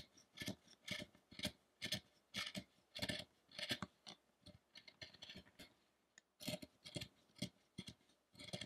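A narrow steel chisel pares across the torso of a solid carved wooden statue of the penance of Shakyamuni, lying still on a dark table. Short, bright rasping scrapes come in uneven bursts about twice a second, with small chips breaking away. Each cut ends dry with no ring, and there is a brief pause near the end before the paring resumes.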